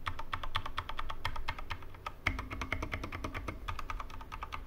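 Right-hand fingertips type on the right side of a Corsair K65 Mini 60% mechanical keyboard with plastic keycaps and Cherry MX Red switches, resting on a wooden desk. A steady, fast run of short, dry plastic clacks with a low thump under each press, and one heavier stroke partway through. Each keystroke dies away almost instantly.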